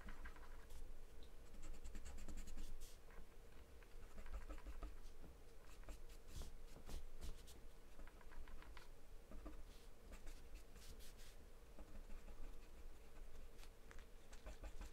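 A grey drawing pen or pencil scratches strokes across a thin, flat sheet of taped white drawing paper. Dry scribbling and scratching continue for the whole clip, with bright bursts of short strokes riding over a steady low hum.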